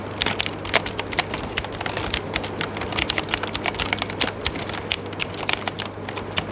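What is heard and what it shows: Fingertips type rapidly on an RGB-backlit mechanical keyboard with plastic keycaps, producing a steady stream of sharp, bright clicking key presses. A faint steady low hum runs underneath throughout.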